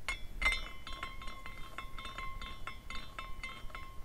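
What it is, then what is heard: Glass carousel ornament clinking. A hand spins the top finial of a small clear glass carousel ornament, and its glass parts clink in a quick run of light, bright taps. A steady ringing tone near 2 kHz, with a lower one around 1 kHz, carries through the clinking, which is louder at the start and stays tinkling to the end.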